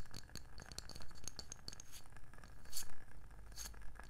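Long nails tap a round, palm-sized wooden candle lid, on the label side and the underside. The result is a quick, irregular run of light, dry clicks with bright, sharp ticks that die away almost at once, over a low, steady background hum.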